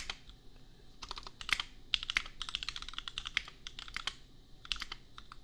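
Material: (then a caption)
Plastic. Fingertips type on a compact custom mechanical keyboard with red and pink plastic keycaps and Gateron Milky Yellow switches. The result is a steady run of short, bright, clacky keystrokes with a few louder accented presses, each dying away almost instantly.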